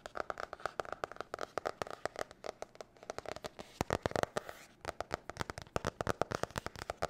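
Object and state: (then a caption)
Hard-cover spiral notebook. Long nails tap and scratch the cover of a blue marbled hard-cover spiral notebook. Quick, irregular clicky taps follow one another throughout, each dying away almost instantly. A short, hissy scratching stretch comes just past the middle before the rapid tapping resumes.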